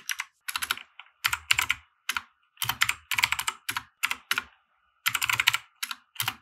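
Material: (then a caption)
Plastic. Fingertips of both hands type on a compact 60% mechanical keyboard with white plastic keycaps and RGB lighting, resting on a felt desk mat. Short, bright plastic clacks arrive in quick bursts separated by brief pauses, with a faint low thud under some strokes and almost no ring after each key.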